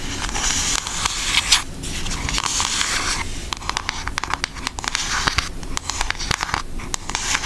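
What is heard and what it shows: Long nails on both hands tap rapidly across the front of a pink Aristocats cardboard eyeshadow palette. The result is a dense stream of bright, crisp clicks over a soft, scratchy background texture.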